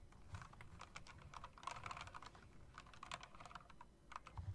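Long dark-nailed fingertips tap across a backlit typewriter-style mechanical keyboard with round plastic keycaps and metal rims. The result is a quick, continuous stream of light clicks, each with a short, bright tick over a soft low thud. The keystrokes blur together too closely to count.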